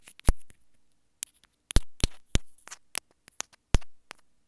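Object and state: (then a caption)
Plastic earphone inline remote. Long fingernails tap and scratch the surface of a small white plastic earphone inline remote held up in both hands. Sharp, bright, clicky taps come in irregular bursts with quiet gaps between them, some followed by a brief scratchy rasp.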